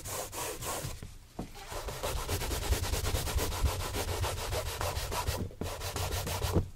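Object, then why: Leather dress shoe. A gloved hand briskly buffs a hollow, empty brown leather Santoni oxford shoe mounted on a stand with a yellow cloth, a matching shoe nearby. Fast, uneven back-and-forth rubbing strokes give a steady swishing hiss over a dull low thrum, with short breaks just after one second and again near five and a half seconds.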